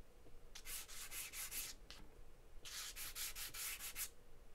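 A charcoal stick held in the fingers scribbles and scratches in steady strokes across a large sheet of white drawing paper taped flat on a table. Two runs of quick, bright, dry scratching strokes are heard, separated by a short pause, over a faint low background rumble.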